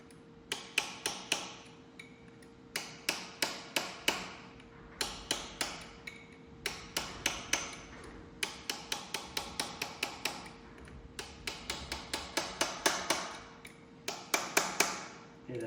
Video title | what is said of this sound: Tractor Parts ARE HERE!! Transmission back together!! #uncut | Hear that change in sound? That's solid. That snapped right in.